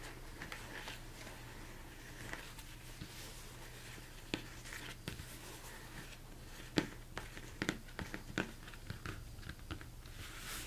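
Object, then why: Upturned plastic mixing bowl. Fingertips tap and scratch the dome of a large, hollow, empty plastic mixing bowl turned upside down. A series of short, dry knocks with very little ring sounds over soft scratchy rustling and a steady low hum. The taps grow more frequent in the second half.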